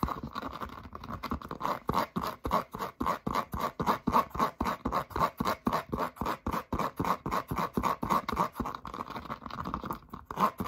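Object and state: Foam rubber clog.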